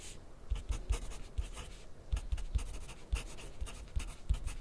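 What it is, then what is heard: Pencil writing on paper over a plastic clipboard. A yellow graphite pencil scratches writing strokes on white grid paper clipped to a white plastic clipboard on a wooden desk, with the left hand resting on the sheet. Dry, bright scratching comes in short bursts, each stroke landing with a soft low thump against the clipboard. The strokes follow one another at an irregular, steady writing pace.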